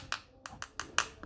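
Five light taps on the plastic back cover of a Z93 Pro smartwatch, each a short, bright click that dies away almost at once.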